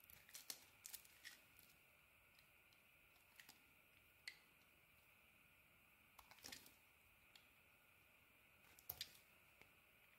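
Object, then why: Bar of soap. A hand-sized, partly carved solid orange bar of soap is held in one hand while a metal blade shaves and cuts thin pieces from its edges. Quiet, crisp, bright scraping and cutting clicks come in short clusters over a faint, steady high hiss. Each cut is short and dry, dying away almost at once.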